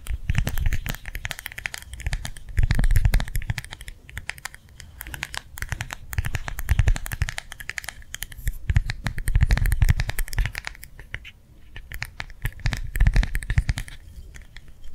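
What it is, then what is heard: Gel hand warmer pad tapped with nails. A small, round, clear plastic gel-filled hand warmer pad is held in the palm and tapped rapidly with the fingernails of the other hand. The fast, irregular taps run in waves that swell and ease off, each one a short dull thump with a faint bright click on top and almost no ring.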